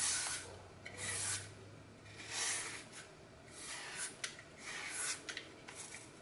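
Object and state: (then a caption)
Floral foam block being scraped. A red-handled blade shaves and scrapes strips off the edge of a hand-sized, solid, crumbly green floral foam block with a glitter-coated face, held over a glass bowl. Five soft, bright, rasping scrape strokes are heard, with small crisp crackles as the foam crumbles away.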